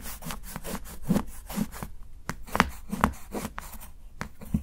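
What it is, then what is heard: Dark chocolate bar being chopped. A steel kitchen knife repeatedly chops thin slivers from the edge of a solid dark chocolate bar held by fingertips. Each cut is a short, dry crunch with a low body and a brief bright crackle, coming in an irregular, fairly quick rhythm of about ten strokes.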